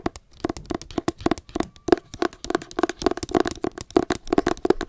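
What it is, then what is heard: Hardcover book tapped with fingernails. Long acrylic nails tap rapidly and irregularly on a solid hardcover copy of *Me Talk Pretty One Day*, a book with a pale green matte paper cover, held close to the face. The result is a steady run of short, dry, clicky taps with a hollow midrange tone around 350 Hz, each dying away almost instantly.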